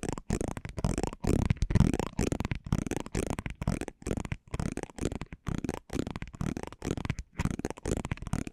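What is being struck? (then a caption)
Cardboard trading card scraped with a metal pinwheel roller. A small metal pinwheel roller on a handle is rolled and scratched across the glossy surface of a thin, flat cardboard basketball trading card held in the fingers, close to the microphones. Dense, crackly rolling scratches come in irregular bursts with brief silent gaps. The sound is heavy in the low end, with little brightness and no ringing after each pass.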